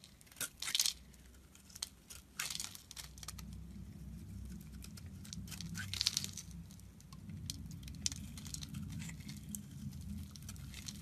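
A metal utility knife blade scrapes and shaves a solid blue Cuticura bar of soap held in the hand, curling off flakes. The result is a series of crisp, bright scraping and crinkling strokes, with a few sharper peaks, over a low, steady hum.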